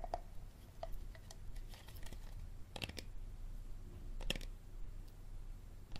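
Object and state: Empty plastic water bottle.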